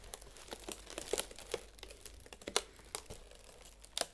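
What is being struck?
Aluminum foil flexible duct hose.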